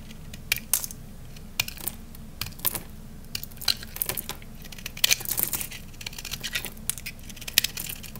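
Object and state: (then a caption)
Dry soap bar. A utility knife blade scrapes and shaves the surface of a round, peach-colored, solid, palm-sized dry Korean soap bar held in one hand, cutting it into crunchy curls. Short, bright, dry crunches and crackles come in quick irregular bursts with almost no ring, over a steady low background hum.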